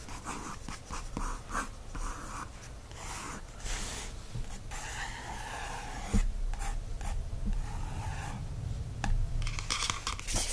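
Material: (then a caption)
Paper. A wooden stick tip traces and scratches across a blank lined page of an open spiral notebook. Soft, uneven scratching and rubbing strokes carry on throughout, with a few firmer taps standing out.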